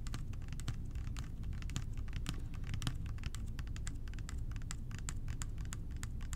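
A clear plastic bottle of blue liquid cleaner with a blue cap, partly filled with blue liquid, is held in both hands and tapped with the fingertips. Quick, light, continuous clicky taps run the whole clip over a steady low hum, with brief bright ticks on each tap.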